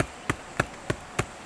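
Four evenly spaced knocks on a hollow, fungus-colonized tree trunk in a forest give short, drum-like dull thuds with a low body and almost no ring. The drum-like tone shows where fungal spawn has spread inside the dead broadleaf trunk, and an edible mushroom is found growing on it.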